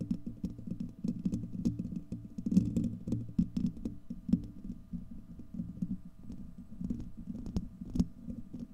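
Fingernails of both hands scratch a hollow, domed steel wire-mesh microphone grille, producing a dense, low, rumbling scratch with rapid tapping and rustling bursts. Energy sits mostly below 200 Hz, with occasional brief bright clicks and louder swells in the middle of the clip.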